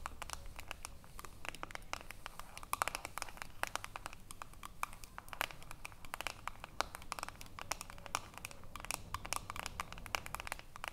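Long nails scratch the ridged edge of the aluminium screw lid on a small filled glass jar. The result is a dense run of quick, dry ticks and scrapes with bright edges, sitting over a faint low rumble.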